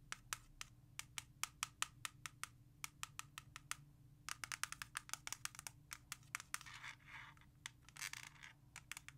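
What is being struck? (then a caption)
Plastic CD jewel case. A single plastic CD jewel case lies flat on a leather surface while long nails tap rapidly on its front cover, making a long series of sharp, bright clicks with almost no ring. Short bursts of hissy scratching across the cover break in near the end among the taps.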